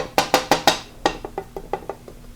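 A glass plate is held just off the bottom of one steel fork leg on a 1983 BMW R100RS/RT and tapped, giving sharp, bright, woody clicks with a short ringing rattle around 800 Hz. Four strong taps are followed by a run of quicker, fainter ones. The ringing shows one fork leg has been pushed ahead of the other, so the forks would need bending back into alignment.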